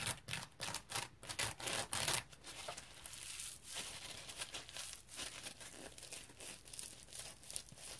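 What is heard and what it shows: Fingernails scratch the textured face and edges of a dry, round, yellow smiley-face polymer foam scrub sponge held up in the air. Bright, raspy scratching strokes come in quick, distinct bursts for the first two seconds. They then settle into a denser, softer, continuous crinkly scraping that carries on to the end.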